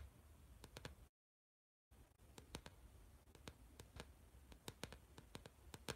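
Fingertips with short nails tap and scratch the glossy plastic or laminated cover of a blue spiral-bound notebook with a metal spiral, held upright. Quick, bright clicks ring out over a low, steady hiss. The sound cuts to complete silence for almost a second before the tapping resumes.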